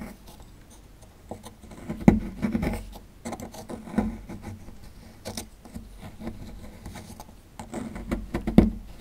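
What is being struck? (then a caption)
Plaster block scraped with a small digging tool. A small dark digging tool scratches and scrapes along the edge of a small solid white plaster fossil excavation block with a dinosaur skeleton relief, held in hand over loose plaster chunks near the bones. The sound is a quiet, dry, low-pitched gritty scraping with short patters, broken by a few sharper, louder scrapes.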